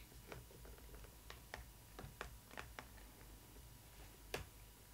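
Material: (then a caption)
Cardboard. Long red nails tap and scratch the printed front of a cardboard box for a Disney ily 4EVER Stitch doll, near the Stitch cutout. About eight short, dry, bright taps sound over a soft scratching and a steady low hum. The loudest tap comes near the end.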